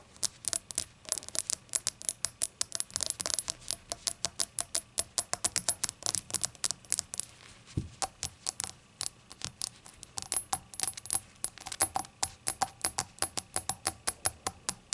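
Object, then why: Small glazed ceramic shot glass tapped with fingernails. A small hollow rainbow-glazed ceramic shot glass resting on a towel is tapped rapidly with long acrylic nails. Each tap is a short, bright click with a faint ringing tone around 770 Hz. The taps form a dense, uneven patter with a brief pause near the middle.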